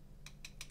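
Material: Plastic.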